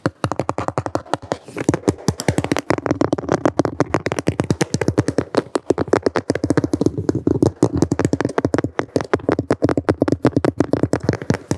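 A medium-sized, thin, solid, flat white plastic cutting board with a handle cutout is held upright and tapped and scratched with the fingertips and short nails of both hands. The result is a fast, continuous stream of dull, hollow taps with a mid-low tone around 300 Hz that die away almost instantly, with little brightness and soft scratchy texture between the hits.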